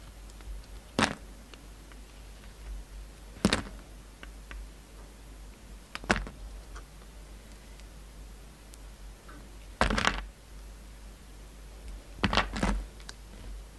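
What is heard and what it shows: A hand-sized, solid black-and-white striped bar of soap with a purple glitter coating is sliced and scraped with a utility knife blade. Short, crisp cuts come every few seconds, each a quick snap with a dull low thud and a bright crackle that dies away almost at once, over a quiet steady hiss.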